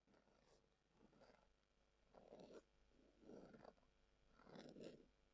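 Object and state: Leather glasses case being scratched.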